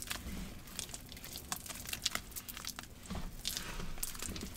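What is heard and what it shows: Both hands knead and squeeze a thick, lumpy green paste of wet cornstarch and gym chalk in a large plastic bowl. Steady crunchy squishing runs throughout, broken by irregular bright crackles and crinkles over a soft low rumble.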